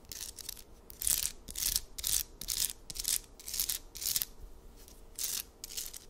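A hand-sized amethyst geode slab, solid stone with purple crystal points, is held in the palm and quickly scratched and tapped with long acrylic nails. The sound is a series of fast, somewhat irregular bright, hissy scratching bursts, about two per second, with brief clicky taps and very little low end.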